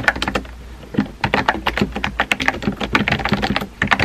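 Fingertips type on a compact pink plastic keyboard with round white keycaps, producing a fast, uneven run of short, crisp clacks with a slightly hollow body. The typing briefly slows to a softer patter before picking back up into steady, bright tapping.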